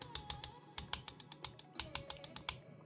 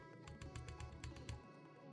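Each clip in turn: First: Rapid light fingertip taps give bright, clicky ticks with a faint rattle: a loose thin metal fan shroud. Second: Light, quick fingertip ticks on a metal laptop fan shroud: short, dry and firm, a solid, secure fit.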